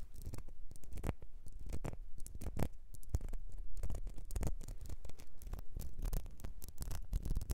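Long nails scratch and tap the ribbed sides of a small, clear glass perfume bottle with a gold nozzle, partly filled and held over fur. The result is a steady run of quick, dry scratches and light taps with a muffled, low-heavy tone and almost no ring after each touch.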